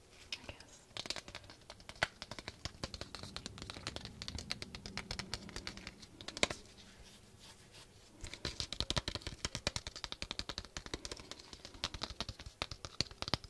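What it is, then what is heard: Wooden hairbrush. Fingertips and nails scratch and tap the light natural bristles and the wooden back of a small handheld wooden-backed hairbrush with a floral decoration, held up close. The result is a dense, bright, crackly scratching full of short, dry clicks and taps that die away almost instantly. A single louder tap comes just after the midpoint, followed by a brief quieter lull before the scratching picks up again.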